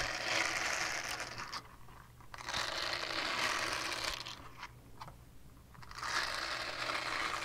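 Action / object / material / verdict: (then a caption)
scrape / silicone scrubber pad / silicone / none. Long painted nails scratch across the bristled surface of a small, flat, solid purple silicone scrubber pad. Three bursts of bright, rapid, crinkly scratching are separated by quieter pauses with a faint low hum underneath.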